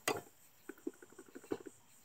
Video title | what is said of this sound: IDEA FLY HERO550, 2nd PART OF MY TRYING TO GET WORKING | you can hear the battery sloshing around in there